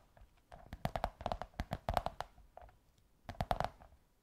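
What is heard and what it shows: Long white nails tap and scratch along a curved beige kraft cardboard tube, making quick, dry taps with a hollow, mid-pitched ring near 720 Hz. The taps come in three quick flurries with soft scratching between them, and each tap dies away almost at once.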